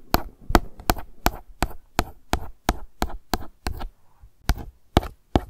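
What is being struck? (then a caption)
Plastic sunscreen bottle. A single long acrylic nail tip taps slowly on a hollow, light blue plastic sunscreen gel bottle lying on its side. Fifteen separate taps are heard, each a short, dull, low knock with a bright clicky edge and almost no ring, with a brief pause before the last three.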